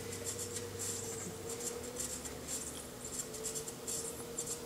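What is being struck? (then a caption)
Leather-hard clay bowl on a pottery wheel. A metal chattering tool held in the fingertips scratches and chatters against the outer surface of a small, unfired, leather-hard clay bowl, solid-walled and hollow, set upside down on a spinning pottery wheel. Bright, rasping bursts of scraping repeat steadily over a constant low hum and a steady mid tone from the wheel.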